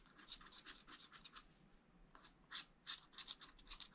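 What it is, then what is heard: Scratch art paper being scratched. A wooden stylus makes fine, fast scratching strokes on the tree area of a black wax-coated scratch art sheet in a flat spiral pad. Quick, bright, hissy scrapes come in short bursts with little low end, pausing briefly in the middle before resuming.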